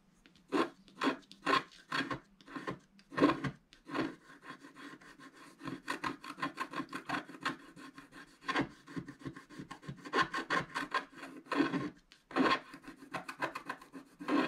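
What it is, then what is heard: Scratch art paper being scratched. A wooden stylus scratches across a solid black wax-coated scratch art card lying flat, working on its right side. It makes dry, raspy scraping strokes in quick bursts and longer runs of rapid back-and-forth rubbing, with a faint tone near 300 Hz and little low end.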